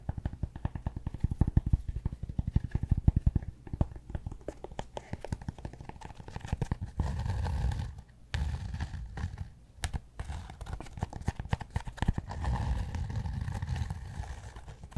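Fingertips and nails scratch and tap the flat surface of a large, solid, yoga-block-sized rectangular cork block held in one hand close to a fluffy microphone. The sound is a dense run of soft, dull, low taps and crackling scratches with almost no ring. Steadier rubbing passes come around 7 to 8 seconds and again near the end.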